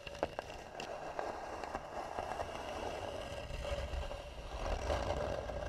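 Fingernails of both hands scratch and tap on the lid of a hollow, carved, varnished wooden box. A steady dry scraping texture with a faint hollow tone around 550 Hz is broken by a few sharp, quick taps.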